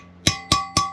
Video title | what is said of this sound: Lapping K24a valves to a perfect seal! | till I hear that solid sound.